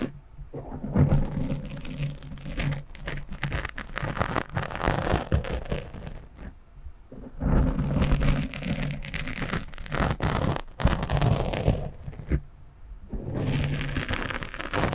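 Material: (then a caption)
Foam. Fingertips and nails scratch quickly across the top of a black foam windscreen on a microphone. The result is a dense, crackling, low-heavy rumble with a rain-like texture. It comes in bursts separated by brief quiet gaps.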